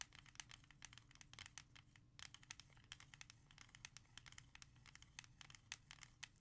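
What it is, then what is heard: Plastic CD jewel case. Long nails scratch and trace across a small, hollow, clear plastic CD jewel case holding a music CD. The result is a quiet, dense run of bright, dry scratches and rapid sharp clicks, with a faint low hum beneath.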